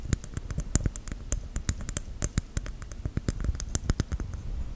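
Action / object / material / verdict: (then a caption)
tap / whole coconut shell / coconut shell / none. A whole, hairy, fist-sized brown coconut shell is held close to the mic and tapped and scratched with long white gel nails. Quick, dry, hollow taps with a low thud under them come in an uneven patter, with soft scratching between taps. Each tap dies away almost at once.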